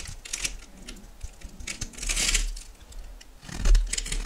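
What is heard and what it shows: A solid yellow oval bar of soap held in the hand is cut into cubes and flakes with a metal knife. The clip carries dry scraping and crisp cutting sounds with bright, hissy bursts around 2.0–2.4 s and 3.5–4.2 s. A low rumble sits underneath.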